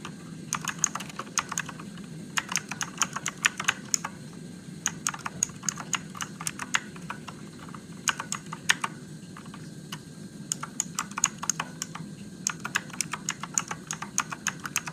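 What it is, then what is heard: Plastic mechanical keyboard being typed on. Fingertips type on a Motospeed RGB-backlit mechanical keyboard with plastic keycaps and blue switches, producing bursts of sharp, bright clicks separated by short pauses. Each keystroke is crisp and dies away almost instantly, over a steady low hum.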